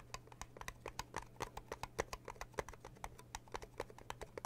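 Fingertips with long blue nails rapidly tap on the lid of a small red metal tea tin, making a quick, irregular run of dry, keyboard-like clicks. Each tap is short with almost no ring, some land harder and brighter than others, and a steady low hum sits underneath.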